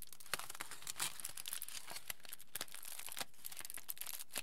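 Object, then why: Folded aluminium foil packet. A small, hand-sized folded aluminium foil packet is squeezed and crinkled by fingers and palms. It makes a steady, quiet stream of dense, bright crackles, with sharper crisp snaps standing out now and then.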